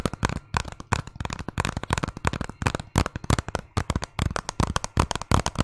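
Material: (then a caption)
Hard plastic. A hollow hard-plastic Zelda game case is held close to the mic and tapped and scratched with fingernails, partly hidden behind the mic at the end. A rapid, uneven run of short, dry clicks and scrapes comes through, each with a low, hollow knock underneath and almost no ring.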